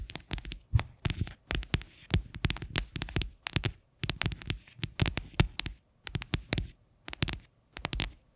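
Fingernails tap and scratch the flat bottom of a medium faceted white plastic bowl, hollow and empty, turned upside down close to the microphone. Quick clusters of taps come in short bursts, each a dull, low, hollow thump with a bright clicky edge that dies away at once, with brief pauses and soft scratching between.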